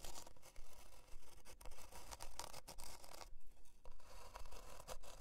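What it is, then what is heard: Plywood board scratched with fingernails. Long dark nails scratch and tap across a thin, flat, solid plywood heart-shaped board resting on faux fur. The result is a steady run of rough, papery scraping strokes, roughly two per second, with bright hiss and short dry taps that die away quickly.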